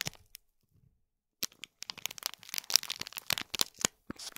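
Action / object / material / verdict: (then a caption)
scrape / small foil-wrapped gift box in plastic film / foil, plastic / none. Fingernails scratch and crinkle the plastic film around a small gold foil-wrapped cube gift box. A few faint crackles and a near-silent pause give way to dense, irregular bursts of sharp, bright crinkling and crackling with almost no low end.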